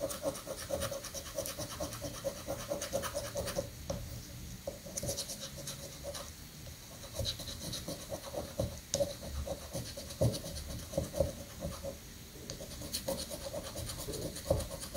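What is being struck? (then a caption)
Paper scratch-off ticket on stone countertop. A coin edge scratches the number boxes on a thin, flat paper scratch-off prank lottery ticket resting on a sandy granite countertop. Continuous rough, raspy scraping runs throughout, with brief sharper strokes standing out and a faint steady tone around 550 Hz underneath.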